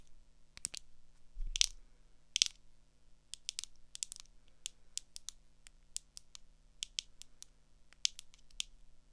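Long acrylic nails tap quickly on the frame and lens of small, hollow blue plastic swim goggles with a rubber strap, held up. The taps are sharp, dry, bright plastic clicks that stop instantly, coming in uneven bursts. A few louder scrapes are mixed in over a faint low hum.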